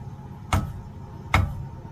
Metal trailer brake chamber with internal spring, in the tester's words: you can just take a hammer like this and just pound on them you're that dull you heard that like dull thud it was okay that one's good